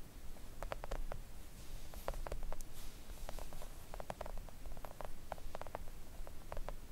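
Long acrylic nails of both hands tap gently on a thin, solid, flat pink silicone nail art mat lying on a table. The result is a steady patter of soft, short, dry clicks with little ring, set over a faint low background hum.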